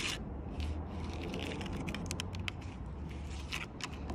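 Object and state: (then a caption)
Tree bark on a log. Long purple nails tap and scratch the rough bark of a large solid log. Dry, crackly scraping and short bright ticks ride over a steady low rumble, with a fairly even level throughout.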